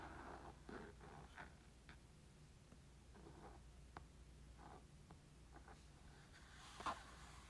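Fingertips and nails lightly tap a black textured Nintendo Switch carrying case with pink trim, a hollow molded EVA hard shell. Soft, muffled hollow taps and light clicky nail strikes sound over a steady low hum, with a louder, sharper tap near the end.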